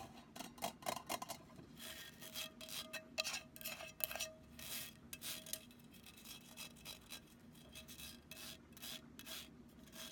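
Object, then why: Wire-mesh metal pen cup. Long nails scratch and rub across the surface and rim of an empty, hollow, cylindrical black wire-mesh metal pencil holder. The result is a quiet, bright, raspy scraping in quick irregular bursts, with a faint metallic hum and ring from the mesh underneath.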